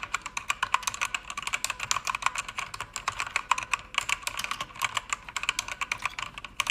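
Fast typing with fingertips and long red nails on a pink-backlit mechanical keyboard with pink plastic keycaps. It makes a rapid stream of sharp, dry clacks, bright and centered near 1 kHz and above, with almost no low end and a very short ring.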